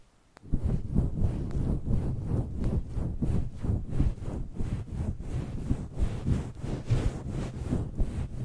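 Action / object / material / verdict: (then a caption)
scrape / synthetic fur microphone windscreen / synthetic fur / none. Fingertips and nails scratch and rub across a fluffy grey-white synthetic fur windscreen covering a small black microphone. After a brief moment of quiet, a steady run of muffled, rumbling scratching strokes begins, heavy in the low end with a soft, brushy texture that swells and eases with each stroke.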